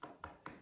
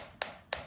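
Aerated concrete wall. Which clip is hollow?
The second.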